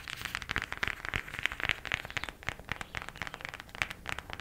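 Fingernails tap quickly on a cardboard eyeshadow palette. The result is a rapid, uneven run of short, dry clicks with a bright, papery tone and almost no ring.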